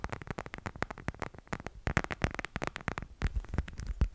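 A plastic cat figurine is tapped in a quick, steady run of light taps. Each tap is short and dry, dying away almost at once, with a low hollow body and some brighter clicks on top. The taps keep coming without pause through the whole clip.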